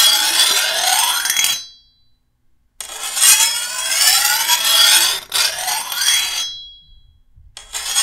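A hand-held steel file is drawn along the edge of a long, thin, solid steel machete blade in several scraping strokes, separated by brief silences. Each stroke is a bright, hissy rasp with sweeping tones, and the blade gives off a short, high metallic ring that lingers as each stroke ends.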